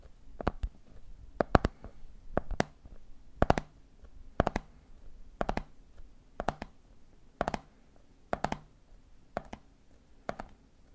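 Fingers tap the side of a medium clear plastic jar full of peanuts, then fingertips tap the top of its red plastic lid. Short, dry clicks come in quick clusters of two or three roughly once a second, each with a dull low knock and almost no ring.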